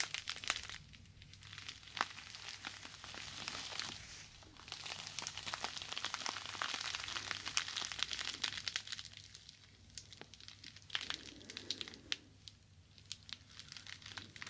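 A small, soft, porous yellow foam sponge is held in both hands and bent, twisted and squeezed with the fingers. It gives a quiet, bright crinkling and crackling with many short sharp ticks and almost no low end, and it swells into a denser, fuller rustle through the middle of the clip.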